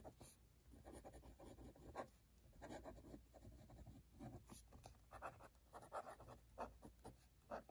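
A hand writes continuously with a metal-nib dip pen on an open cream paper notebook page while the other hand holds the page flat. Quiet, dry scratching strokes come in short rhythmic bursts, mostly in the midrange over a faint low hum. The scratches are brief and do not ring out.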